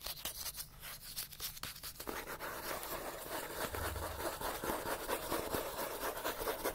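Fingernails scratch quickly along the page edges and spine of a solid-paper paperback book. The result is a dry, rustling, broadband scratching in fast, uneven strokes, lighter and more broken for the first two seconds, then denser, brighter and steadier to the end.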